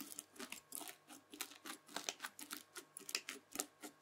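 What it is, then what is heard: Bead-filled floam slime being scraped. A white plastic fork scratches and slices through the beaded surface of red bead-filled floam slime. Around eighteen quiet, short, bright crunchy crackles follow one another in quick succession, each dying away almost at once.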